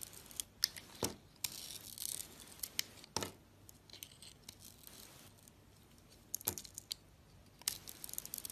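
A solid bar of soap with a blue glitter coating and a white interior is held in the hand and sliced and scraped with a metal utility blade. Sharp, bright clicks and crisp scraping strokes come in irregular bursts over quiet pauses, with the sound sitting almost entirely in the high range and little low end.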